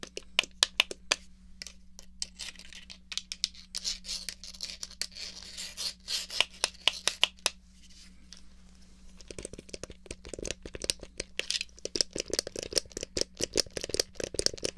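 Fingers rub and tap the base of a small, hollow, black plastic Atari joystick controller and move its stick. The result is a dense run of bright, dry clicks and scratchy rubbing over a faint steady low hum. In the second half the taps become more frequent and take on a fuller, hollow body.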